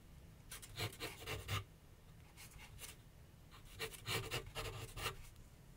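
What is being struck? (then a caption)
Graphite pencil on canvas board on a wooden easel. A graphite pencil held in the fingertips scratches sketch lines across a medium white canvas/paper board on a wooden easel. Short, dry, raspy strokes come in quick clusters, each a bright scratchy burst over a faint low rumble. Quieter pauses separate the groups of strokes.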